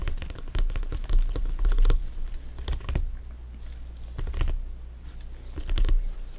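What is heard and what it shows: Fingers in black gloves tap on top of a full-size inflated, hollow soccer ball with stitched synthetic leather panels. The taps come as rapid, irregular bursts of soft, dull thumps with a low hollow boom and light clicky edges. Each tap dies away almost immediately, with quieter gaps between the bursts.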